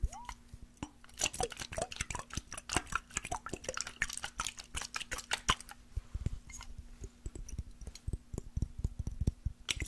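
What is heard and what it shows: A small glass mason jar with a metal screw lid, partly filled with water, is tapped with fingernails and tilted. Rapid, sharp, quick-decaying clicks mix with soft liquid sloshing over a faint steady low hum.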